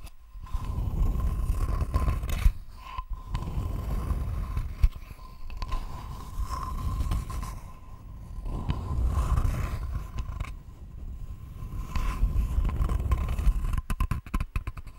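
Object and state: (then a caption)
Wooden board. Long fingernails scratch across a thin, flat, solid rectangular wooden board held close to the microphone, making dense, rough scraping strokes that swell and fade in waves. The sound is heavy and low, with a steady faint tone running underneath, and the scratching ends in a few quick, sharp taps.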